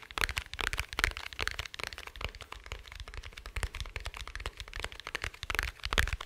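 Fingertips and nails tap quickly on the surface of a small, dark, rigid, hollow glasses case held close to the microphone. The result is a dense run of sharp, dry clicks with almost no ring, each carrying a bright upper edge and some low-end thump. The taps come in uneven clusters rather than a steady beat.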